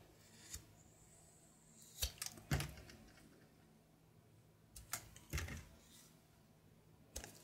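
A knife blade shaves the surface of a brown soap bar held in hand, peeling off a thin grey-blue layer. Several short, crisp scraping strokes come at irregular intervals, each with a dry, bright edge and a dull low thud. Between strokes there is only a faint low hum.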